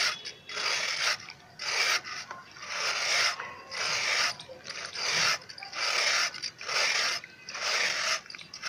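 A flat grey scraper tool is pushed down the face of a hand-sized solid grey sand-cement block held upright over a dark basin of water, shaving off powdery dust that falls into the water. Repeated dry, hissy rasping strokes come about once a second, bright and airy with almost no low end, separated by brief quiet gaps.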